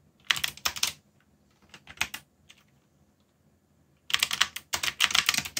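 Fingertips type steadily on a backlit mechanical keyboard with plastic keycaps, giving short bright clicks with a quick decay. The typing comes in bursts: a flurry near the start, a few sparse keystrokes through the middle, then a dense run of rapid clacking toward the end.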